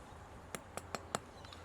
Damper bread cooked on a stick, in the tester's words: when you tap it, you can hear that, it sounds solid